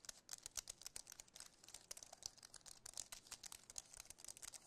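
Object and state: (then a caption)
Aluminum and plastic keyboard. Fingertips and nails rapidly tap and press the plastic keys of a compact white wireless keyboard with an aluminum frame. A quiet, dense stream of crisp, bright clicks comes in quick bursts, each dying away almost instantly with almost no low end.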